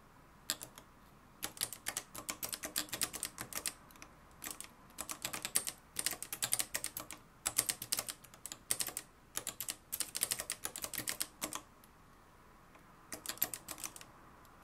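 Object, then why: Plastic and metal manual typewriter. Fingertips type continuously on the dark plastic keys of a mustard-yellow, plastic-cased manual typewriter with a metal mechanism. Rapid, bright clacks come in dense bursts separated by short pauses, each strike snapping off quickly with almost no low end.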